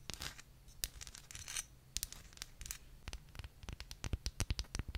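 Very long painted nails scratch and tap the outer surface of a small, hollow white ceramic cup or holder with a gold floral print, held in one hand close to the mic. Dry, bright scraping bursts in the first two seconds give way to quick, irregular clicking taps that grow sharper and more frequent toward the end, each dying away almost instantly with no ring.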